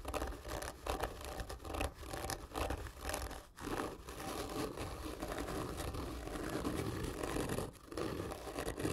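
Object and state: Cardboard gift tube being scratched.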